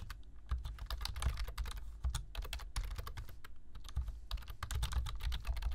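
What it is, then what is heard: Plastic computer keyboard being typed on. Fingertips of both hands type on a black plastic computer keyboard, tapping the keys in a rapid, steady stream. Each keystroke gives a short, bright click over a soft low thump, and the taps overlap into a continuous clatter with no pauses.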